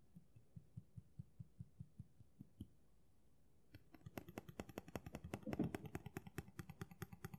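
Fingernails tap quickly on the solid blade of a steel kitchen knife with a black handle, held in both hands. A run of evenly spaced, low, dull taps is followed by a brief silence, then a faster, denser burst of brighter, clicking taps.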